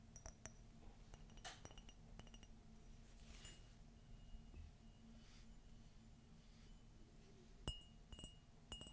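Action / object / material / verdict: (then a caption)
tap / ceramic coffee mug / ceramic / none. An empty white glossy ceramic coffee mug with a gold Minnie silhouette is tilted and tapped with long fingernails. The taps give sharp clinks with a short, high ringing tone around 2.9 kHz over a quiet, steady low hum.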